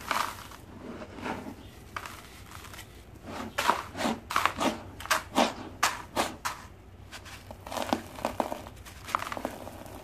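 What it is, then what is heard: Dry sand-cement block, crumbling. A hand with dark-painted nails lifts a palm-sized solid block of dry sand and cement mix from a bowl of loose gritty powder, and the fingertips and nails scratch and crumble its surface so grit falls away. Irregular bursts of dry, crackly scraping and gritty crumbling come and go over a faint background, with bright, sharp crunches standing out in the middle of the clip.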